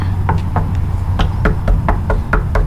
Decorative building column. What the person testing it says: it's clearly hollow hollow yeah